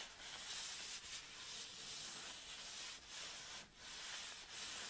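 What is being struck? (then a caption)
Nylon fabric bag. An empty black nylon tripod bag is flattened on a table and then rolled up while hands rub and scratch the fabric. The result is a continuous, quiet, bright, hissy rustle with brief dips in loudness and almost no low end.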